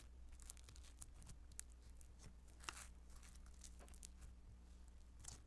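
Blue beaded Play-Doh Foam modeling dough, spread flat on a table, is pressed, patted and squished with the palm and fingertips. It makes quiet, bright crackling and crinkling bursts, like soft tearing, over a steady low hum.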